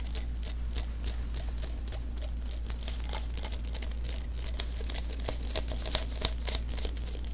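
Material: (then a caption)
Adhesive paper. Fingertips tap and press the tacky surface of a small, hollow sticky lint roller refill, an adhesive paper roll held in the hands. The result is a rapid, irregular stream of bright, crackly sticky clicks and little peeling snaps over a steady low hum.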